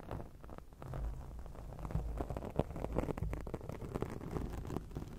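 Long acrylic nails scratch across a black foam microphone windscreen, producing a dense, muffled, crackling rustle. Irregular scratchy bursts sit mostly in the low range over a continuous bassy rumble, with little brightness.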